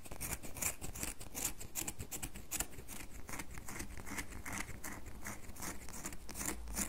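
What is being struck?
Bar of soap scratched with fingernails.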